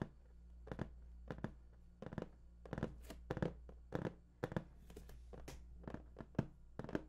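Fingertips drum and tap on the top of a large, hollow, printed cardboard PS4 box, making a quick, uneven series of short, dull thunks with a soft papery edge. Each tap dies away almost at once over a steady low hum.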